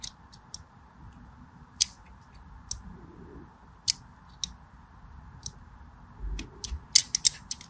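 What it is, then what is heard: Bar soap being scored with a blade. A small black-handled blade scores diagonal lines into the surface of a solid purple-and-white striped bar of soap held in one hand. About a dozen short, bright scraping clicks come at uneven intervals, with a few clustered near the end. A steady, faint hiss sits underneath.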